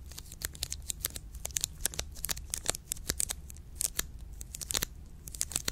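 Long pink nails tap and scratch the orange plastic wrapper of a full milk chocolate bar. The result is a rapid, irregular run of sharp, bright crinkly clicks and scratches that die away almost instantly, over a steady low hum.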